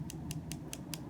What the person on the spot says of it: hopefully you can hear when I bang on that there